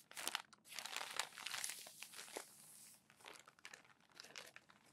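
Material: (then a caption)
Glossy paper. Crumpled, thin glossy magazine pages resting on a stack are smoothed flat with open palms, then lifted and turned by the fingers. The result is a bright, dense crinkling and rustling, loudest in the first three seconds, that eases into softer, scattered crackles and page flips.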